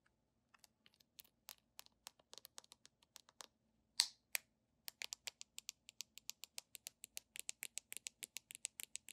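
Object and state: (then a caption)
Plastic cosmetic tube. Long nails tap and scratch the white plastic flip cap and body of a handheld red plastic cosmetic squeeze tube. About 34 quick, dry, bright clicks and ticks are heard, with almost no low end and very short decay. A louder scratchy burst comes around the 4-second mark, then the taps continue at a faster pace.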